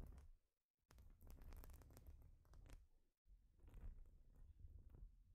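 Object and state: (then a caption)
Plastic baseplate scratched. Long pointed nails scratch over the studs of a thin, solid, flat plastic Lego baseplate as hands move across it and knit sleeves brush the surface. The quiet, continuous scratching is heavy in low rumble, streaked with crackly high scrapes. It breaks into two brief pauses before resuming.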